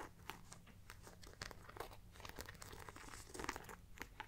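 Long black-painted nails tap and scratch the metal-studded front panel of a small, round, hollow, soft-bodied brown faux leather crossbody bag held close up. Quiet, dry crinkling scratches and short, bright ticks follow one another quickly over a steady low hum, each tick dying away almost at once.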